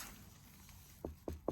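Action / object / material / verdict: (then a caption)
tap / spaghetti squash fruit / squash rind / ripe. Three taps on a riper spaghetti squash still growing on the same plant give short, dull knocks with a low tone around 340 Hz and almost no ring. Compared with the less ripe squash beside it, which did not sound very hollow, this one sounds different.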